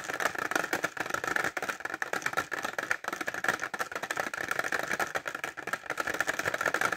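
Short fingernails tap fast on a clear plastic pencil case filled with pencils, held upright. The result is a dense stream of quick, dry plastic clicks with a rattly edge, centered on a mid-high tone around 1.7 kHz, with almost no low end and very short decay.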